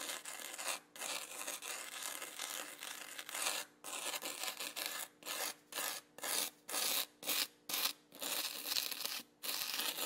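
A small red plastic spoon held in the fingers rubs and spreads loose fine black sand across a flat, yellow, sticky sand-painting sheet about A4 size. The result is a bright, dry, gritty scraping hiss with almost no low end. Long strokes give way to shorter, quicker strokes separated by brief silences.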